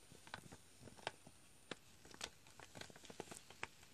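Fingertips tap and scratch the front of a foil-lined plastic chicory coffee pouch, which crinkles as it is handled. Quiet, sharp clicks and crackles come in uneven bursts over soft crinkling, with bright edges and almost no ring. A faint steady high tone runs through the first half.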